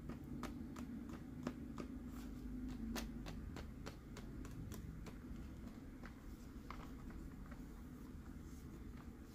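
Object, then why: Plastic sipper cup. A hollow green plastic Mike Wazowski sipper cup, held in the hand, is tapped on the front and sides with fingertips and nails. The result is quick, irregular light clicks, about three per second, each dying away almost instantly, over a steady low hum.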